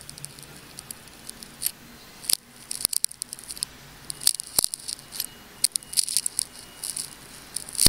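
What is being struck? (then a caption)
Ball of wound clear plastic tape. A small craft blade scrapes and slices along the wound layers of a clear plastic tape ball with dark spots, held in the hand. Short, bright crackling clicks and scratchy rasps come in irregular bursts over a quiet background, each snapping off almost instantly.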